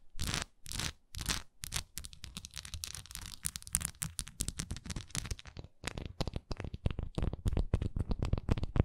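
Long nails scratch and tap the sides of a solid wax pillar candle with a swirl-patterned surface while hands hold it. A few drawn-out, bright scratching strokes open the clip, then give way to a rapid, dense run of short, dry taps and scrapes that grow sharper and louder toward the end.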